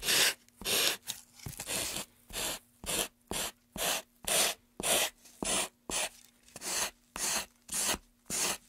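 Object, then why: Carved pine wooden tray. Sandpaper is rubbed along the edge and face of a solid, light-wood carved pine tray with grooves, held in a gloved hand. About seventeen short, bright, raspy strokes follow in a steady back-and-forth rhythm, each a dry scratchy hiss with faint low hum between strokes.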